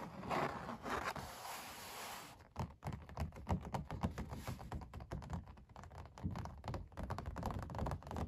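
Fingertips and long nails scratch across the textured paint of an oil painting of puppies on stretched canvas, making a steady rasping scrape for the first couple of seconds. This gives way to a rapid run of dull, low tapping thumps and short scratches on the taut canvas, each dying away almost instantly.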